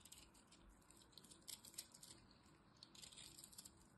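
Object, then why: Bar of soap carved with a small metal blade. A small metal blade carves crumbly pieces from a dried lilac soap bar held in the hand. The sound is a quiet, steady bright scraping and crackling, with crisp ticks and louder flurries of crumbling around the middle of the clip.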